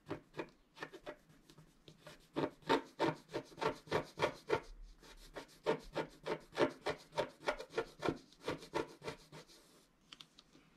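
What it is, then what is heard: Scratch-art card being scratched. A pointed wooden stylus held in the fingertips scratches across a flat A4-size scratch-art sheet, black coating over a colored foil card base, lying on a cloth while the other hand holds the sheet. About 27 short, rasping scrapes follow one another at a brisk, uneven rhythm, each a dry broadband stroke with a midrange body. A brief pause falls just before the end.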